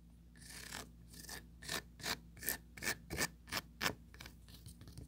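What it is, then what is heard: Plastic mesh tray. Four long pointed nails scratch and rub across an empty small oval plastic tray, working over its grid-textured mesh surface and ridged side wall. Short, bright, rasping strokes come in a quick, uneven rhythm, with the loudest bursts in the middle of the clip. A faint steady low hum sits underneath.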